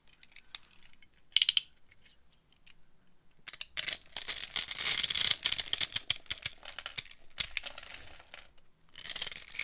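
A metal blade carves a dry, solid, translucent yellow glycerin soap bar with a grid-scored surface, held in hand, breaking off crumbly cubes. Sparse bright clicks and a short crisp crackle open the clip, then dense, high, dry crunching and scraping builds, fades briefly and returns.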